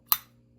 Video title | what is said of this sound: Antique store finds…Zippo’s !!! 😀 | listen to this silver ping